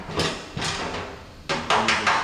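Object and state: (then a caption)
Sheet-metal panel sounds solid where backed by a dolly. A small dent in a steel car body panel is tapped while a metal dolly is held underneath, out of sight, to locate it. A series of sharp, ringing metallic taps sound solid where the dolly sits behind the sheet metal.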